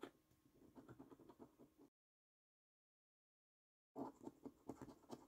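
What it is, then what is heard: Scratch card being scratched with a coin. A coin held in the fingertips scrapes the scratch-off coating from a thin, flat paper £15 Luxury Lines National Lottery scratch card. Quick, uneven bursts of soft, dry scratching, mostly low-mid in tone, run for about two seconds. Then comes a two-second gap of complete silence, before louder scratching resumes to the end.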